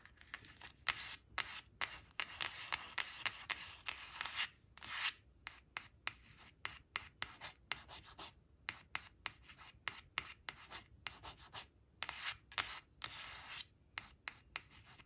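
Long nails trace the letters of the word "yellow" on a thin, flat glossy coated cardboard flash card resting on a fabric cloth, scratching its surface. The result is a quiet, bright, dry scraping and rubbing made of many short strokes with brief gaps and no ringing.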